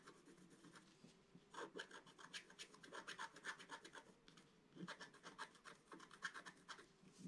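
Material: Coated paper.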